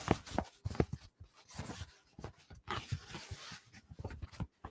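Someone taps a newly received novelty "dino" conductor-style hat made of a stiff, cardboard-like material. It gives a series of dull, hollow, papery knocks with almost no ring. The hat sounds like cardboard, too cheap to wear in public, so it is being returned.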